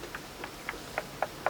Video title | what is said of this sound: Mud Plastering Experiments and Tests at Sacred Groves - Auroville | if it's not applied properly also you can hear the hollow sound